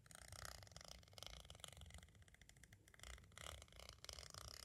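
A pointed green striped tool scratches and traces across the surface of a small, hollow white hard plastic audio cassette shell. The quiet, continuous scratching has a bright, rasping texture over a low, purr-like rumble, swelling and fading as the tool moves.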